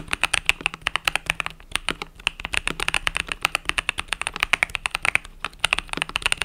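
Fingertips type rapidly on a compact mechanical keyboard with pastel purple-yellow plastic keycaps. Dozens of quick, bright, clacky keystrokes sound in a steady flurry, each dying away almost at once, with very little low end beneath them.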